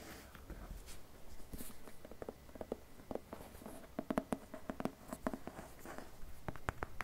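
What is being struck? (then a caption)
Paper-covered cardboard slipcase. Fingertips and short nails tap and scratch the cover and spine edge of a dark, hand-sized, rigid paper-covered cardboard slipcase holding a book. The result is a quiet run of soft, dry taps and light scratches, low and muted, with many quick clicks clustering toward the end.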